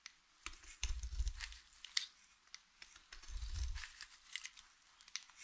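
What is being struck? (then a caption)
Bar of soap cut with a blade. A utility knife blade keeps slicing through a solid, dry blue soap bar that has a thick fringe of cut strips. The cuts make a crisp crunch of bright, dry crackles and ticks, with two longer, heavier crunching passes that carry a low rumble.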